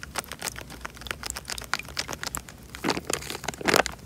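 A tied, clear plastic bag full of water is squeezed and rubbed with fingers, making a steady stream of soft, bright crinkles and crackles. Denser, louder bursts of crinkling come near the end.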